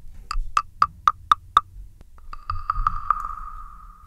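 A small hand-carved wooden frog, hollow with a ridged back, is held in one hand and tapped and scraped with a thin wooden stick. Six evenly spaced, hollow "tok" knocks ring out at a clear pitch near 1.2 kHz. After a short pause comes a quicker run of clicks that blurs into a sustained ringing tone at the same pitch, fading out at the end.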